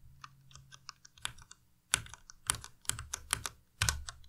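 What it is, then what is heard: Plastic mechanical keyboard keys being pressed. Slow fingertip presses on the arrow and other keys of a white Ducky Miya Pro tenkeyless mechanical keyboard with plastic keycaps produce about eighteen separate sharp, bright clacks. Each clack stops almost instantly, and the louder strokes carry a dull low thud from the case underneath. The presses come at an uneven pace with brief quiet gaps between them.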